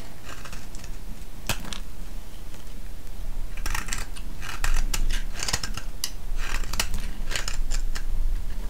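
A solid, hand-sized green soap bar held in the hand is shaved and scraped with a metal blade, with curls breaking off. Repeated crisp, bright scraping strokes come in bursts, heavier in the second half, over a steady low hum.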